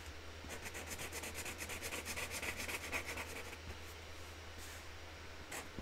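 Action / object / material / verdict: scrape / felt-tip marker on a cardboard lid / cardboard / none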